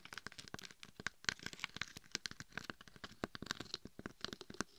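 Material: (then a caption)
Glitter. Long acrylic nails scratch and tap the rough glitter surface on the sides and top of a glitter-coated dummy head microphone held in both hands. A rapid series of dry, crackly scratches and clicks is heard, bright and crinkly with almost no ring, each one stopping instantly.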